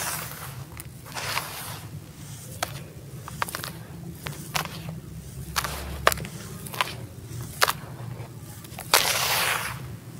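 Bare hands dig into loose, dry, gritty sand-cement crumble filling a teal plastic tub, raking and rubbing it and letting grains fall back. A bright, gritty rustle runs throughout, broken by sharp, short clicks and ticks. It ends with a louder sandy hiss swelling near the end.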